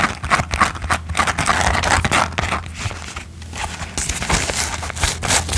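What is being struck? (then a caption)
Plastic headband ears with glitter coating. Fingertips and nails quickly scratch and tap the glitter-coated ears of a hand-span-wide mouse-ear headband with a blue plastic band and a satin bow, held in both hands. The result is a fast, irregular stream of dry, bright scratches and crackly taps over a low steady hum.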